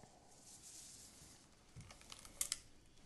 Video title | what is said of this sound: Expériences à -193° - Les classiques du Palais | Vous entendez? Ça craque. Ça craque.